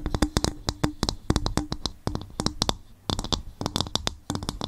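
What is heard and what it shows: Fingers tap and scratch on a bowl made from coconut shell, giving a quick run of short, dry knocks with faint scraping between them. Each tap dies away almost at once, with a hollow low thump and bright clicky edges.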